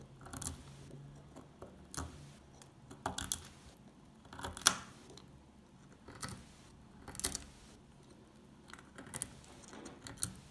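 An old, solid, dry brown laundry soap bar with a stamped face is held in the hand while flakes are picked and scraped off it with a metal pick. Short, bright, crisp crunches and scrapes come in separate bursts across the clip. Each one cuts off quickly against a quiet, low background.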